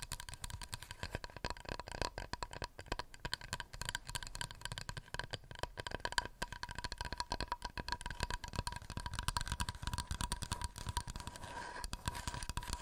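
A wooden plate is tapped rapidly and continuously with fingernails. The dense, dry, clicky taps die away almost instantly, with a low knocking body and a steady ringing tone near 1 kHz running throughout.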